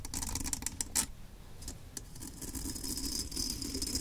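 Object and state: Steel M1 helmet.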